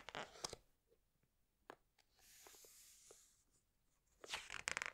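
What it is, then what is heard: Glossy paper hardcover book, page turning. A hand presses a page of a large open hardcover book with glossy pages flat, then slowly turns a thick glossy page. Crisp bright rustles open the clip, followed by scattered soft ticks and a faint, airy swish as the page sweeps over. It ends in a louder, crackling paper rustle as the page settles.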